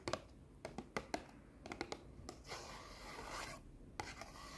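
Long nails scratch and rub the face of a small, solid orange stack of paper sticky notes held in both hands. About a dozen short, crisp scratches with quick papery clicks give way to a sustained bright, hissing rub in the middle, then a few more sharp scratches. The sound is dry, with almost no ring.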